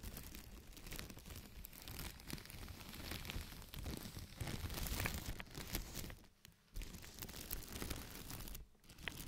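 A large, thin, empty white plastic bag is lifted and crumpled, then rubbed flat with the palms and fingertips of both hands. The result is a dense, continuous crinkling and rustling with crisp, bright crackles over a low rumble of handling. The sound drops out briefly about two-thirds of the way through and again near the end.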